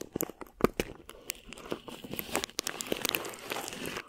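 Clear plastic film stretched over a mesh microphone head is crinkled and scratched with long nails, then rubbed with a flat palm. Close, sharp crackles and crinkles with bright hiss pop in quick bursts, then settle into a steadier rustling scrape with little low end.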